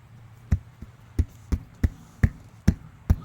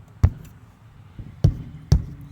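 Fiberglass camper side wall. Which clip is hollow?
The first.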